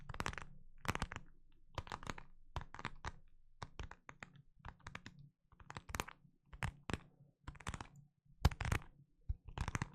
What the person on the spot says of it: Just kind of a plasticky plastic sound